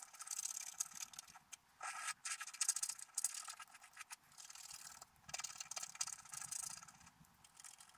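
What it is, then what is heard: Scratch-art paper being scratched. A wooden stylus scratches a squirrel shape into a black-coated scratch-art paper card held flat. Dry, bright scraping strokes come in short bursts and longer rasping runs, with a high hiss and almost no low end.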